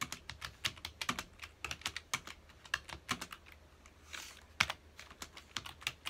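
Fingertips of both hands rapidly press the keys of a full-size black plastic computer keyboard resting on a dark desk. Around 31 quick, dry, bright clicking taps come in an uneven typing rhythm, each dying away almost instantly, with little low end and a brief softer hiss-like rustle partway through.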